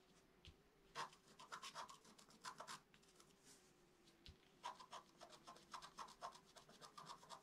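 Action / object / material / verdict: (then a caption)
scrape / scratch-art card scratched with a wooden stick / coated paper / none. A pointed wooden stick held in the fingers scratches a thin, solid, flat black-coated scratch-art card with a rainbow layer underneath, lying on a table. A quiet series of short, dry, raspy scratching strokes with a bright edge comes in uneven bursts, separated by brief pauses.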